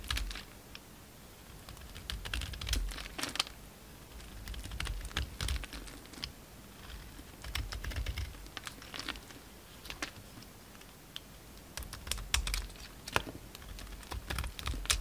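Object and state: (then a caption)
Bar soap being carved. An oval, solid green bar of soap with a dark blue embossed coating is carved with a blue-handled utility knife, peeling the coating away as shavings fall off. Quick, crisp scraping and snapping clicks come in irregular bursts, bright and dry, over soft low thuds. Each cut stops short with almost no ring.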